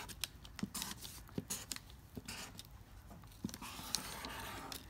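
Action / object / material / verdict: scrape / thin lined notebook paper under a felt-tip marker / paper / none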